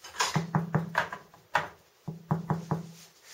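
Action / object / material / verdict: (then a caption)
knock / sourdough bread loaf / bread crust / baked through. Knocking on the underside of a finished 2 kg sourdough loaf after baking gives ten soft, hollow thuds in two quick bursts, with a low, dull body and little ring. The hollow sound shows the loaf is baked through.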